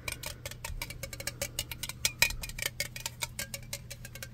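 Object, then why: Metal aerosol spray can. Fingertips tap along the body of a black metal aerosol spray can, held first sideways and then upright. A rapid, uneven series of light, bright metallic ticks sounds, each dying away almost at once over a faint steady low hum.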